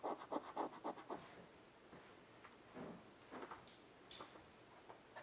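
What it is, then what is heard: Chalk drawing on a wood-framed chalkboard. A child lying on a carpet draws with a piece of white chalk held in her fingertips on a flat black chalkboard, about 40 cm across with a wooden frame. The chalk scratches the solid board surface in a quick run of about six short strokes, then continues in softer, scattered scrapes.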